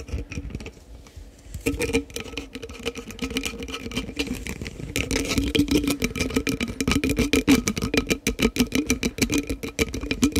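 A green-capped, Prime-style plastic sports drink bottle of about 500 ml with a green and pink label is held near the microphone and tapped and scratched with fingertips and nails. It makes rapid, irregular clicky taps with a hollow plastic ring around 280 Hz. The tapping grows denser and louder after the first few seconds.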